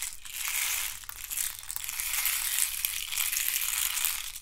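Fingernails scratch and rub the ribbed sides of a hand-sized, hollow hexagonal box made of thin wooden sticks. The result is a steady, crunchy crackle with dense, bright texture and very little low end, swelling and easing in waves over about four and a half seconds.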